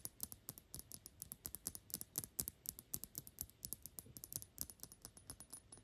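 A Gucci perfume bottle of thick, dark glass, hollow and filled with liquid, is fast-tapped on its glass sides and edges with long pink nails. The result is a quiet, steady run of dozens of quick, bright clicks with a high glassy edge and almost no ring after each tap.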